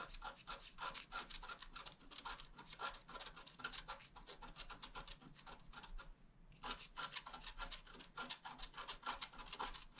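A wooden stylus scratches quick grass strokes into the lower right edge of a flat black wax-coated scratch art card. Rapid, dry, rasping scratches repeat in a steady rhythm with a bright, hissy edge, pausing briefly just past the middle before the strokes resume.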